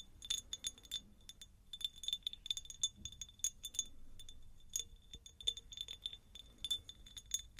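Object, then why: Faceted glass jar. A medium, hollow, empty faceted cut-glass jar is tapped with long nails close to the mic. Quick, irregular clusters of bright glassy clinks ring around 3.5 kHz with high shimmer above. Each tap dies away almost at once over a faint low background.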